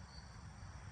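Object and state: Nothing is struck.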